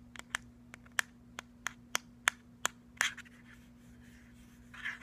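Fingertips and nails tap the round rubbery plastic end cap of a hollow, cylindrical plastic Bluetooth speaker with a metal grille. Sharp, dry clicks come in a quick irregular run with almost no ring. Then a brief scratch sweeps across the perforated grille, and a soft rub trails off near the end.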